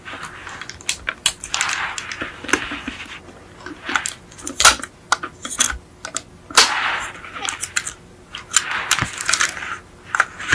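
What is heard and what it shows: A small yellow die-cast metal Beetle model with a hollow metal body, held in hands, is tapped and scratched with long acrylic nails. Sharp, bright clicks and taps mix with stretches of hissy scratching over about ten seconds.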